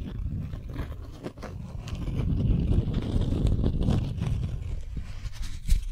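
Long nails scratch and tap a folded, stiff beeswax-coated cotton wrap sheet. The scraping is a dense, low, rustling crinkle, broken by short, sharp taps and clicks that flash up into a bright, dry tick before fading quickly.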